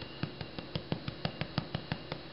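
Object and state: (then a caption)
Baked-through damper bread (hollow sound). Freshly baked, piping-hot damper bread with a golden crust is tapped on the bottom about a dozen times in a steady rhythm, each tap giving a short, dull, low thump. The hollow sound shows the loaf is cooked all the way through.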